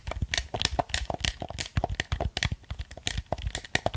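A black plastic gamepad is held close to the microphone while its buttons are pressed and its surface is tapped with fingertips and nails. About two dozen quick, dry clicks and taps follow one another, each with a low thump and a bright plastic crackle that stops almost instantly.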